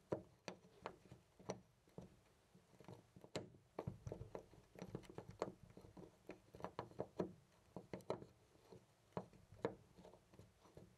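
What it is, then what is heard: Loose brass door knob. A loose, round brass-finish door knob on a white panel door is gripped by the fingertips and jiggled and rattled close to a studio microphone. It gives a quiet, irregular run of short, dry clicks and knocks with a faint low-mid body and almost no ring.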